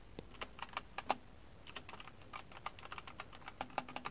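Fingertips tap and type on a compact RGB-backlit mechanical keyboard with plastic keycaps in the dark, its lighting shifting from blue to red. A quick, irregular run of short, crisp clacks with a bright click rings only briefly before the next key. The keyboard sounds solid.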